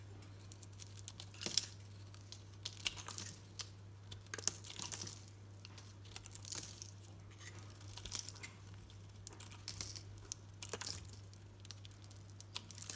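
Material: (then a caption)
Soap. A solid green soap bar painted dark purple is shaved with a utility knife blade while held in the hand. Quiet, bright scraping and crackling comes in short bursts, with sharp crisp clicks as the blade catches and flakes come away. A steady low hum runs underneath throughout.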